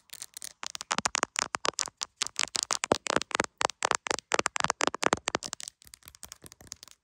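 Long acrylic nails tap rapidly on the edge and back of a solid, hand-sized iPhone in a clear plastic case. Dozens of crisp, bright clicks come in quick irregular bursts with almost no low end and no ringing, and the last second grows softer and sparser.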